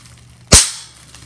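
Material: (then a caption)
Plastic. Clear plastic bubble wrap is bunched in the hands and a bubble is squeezed until it pops. A single sharp, bright pop with a low thump underneath rises out of quiet background hiss and fades quickly back to it.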